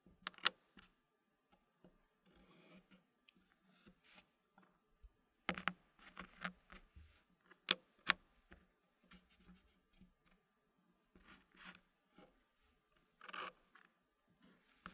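Fingertips slide and rub small solid dark-wood puzzle pieces against each other and against a thin green-painted wooden tray resting on a leather surface. Quiet, bright scraping and rubbing sounds come in short bursts, broken by a few sharp wooden clicks. Quiet pauses fall between the bursts.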